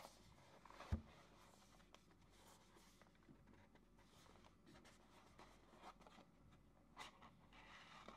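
Fingertips rub, turn over and handle a small white printed paperboard retail box for a Ulanzi ST-28 MagSafe mount, hollow with the product inside, while starting to open its flap. Quiet, soft scraping and papery rustling fill the clip, with a louder low thump near the start and a few light, bright taps later on.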